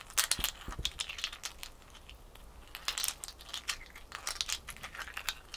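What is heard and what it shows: A single small, solid ice cube held in the fingers is tapped and scratched with long fingernails. Bright, crisp clicks and crackly scratching come in quick, dense bursts, with a softer, quieter stretch in the middle before the tapping picks up again.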